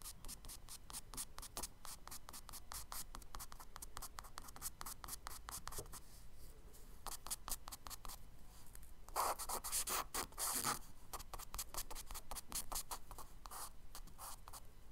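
A charcoal stick scratches tree strokes onto the solid surface of a tan kraft paper page in a spiral sketchbook. Quick, dry, scratchy strokes repeat steadily, easing briefly around six to seven seconds. A louder, brighter flurry of strokes follows between nine and eleven seconds before the steady scratching resumes.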